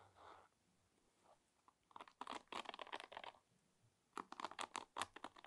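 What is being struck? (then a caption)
Wooden paddle hairbrush with wooden pins. Fingertips and nails strum and scratch across the wooden pins of a wooden paddle hairbrush about 20 cm long. After a few soft, faint brushes, dense bursts of dry, crunchy, crackling scratches come in two clusters. Each stroke is short, clicky and mid-toned with a bright edge and no ring.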